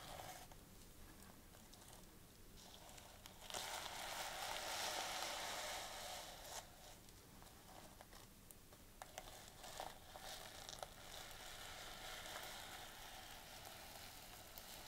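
Fingertips and long painted nails stroke, scratch across and flip the small reversible plastic sequins sewn onto the fabric cover of a flat, rectangular, closed notebook. The result is a bright, crinkly, scratchy rustling that swells louder for a couple of seconds in the first half, with a few sharper clicks of flipping sequins later on.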